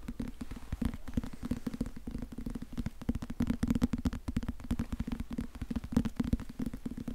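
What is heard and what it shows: A small, solid teal and purple cloth-covered hardcover book, held in one hand, is tapped and scratched quickly with fingertips and nails. The result is a dense stream of soft, short, dry taps over a low, muffled hum, with scratchy bursts reaching up into brighter frequencies.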